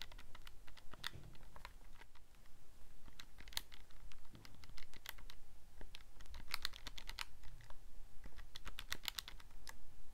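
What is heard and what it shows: Fingertips repeatedly press the rubber/plastic number buttons of a handheld black plastic scientific calculator with a hollow casing, held in one hand. The result is a steady, irregular run of short, dry, bright clicks that stop almost instantly, over a faint low background rumble.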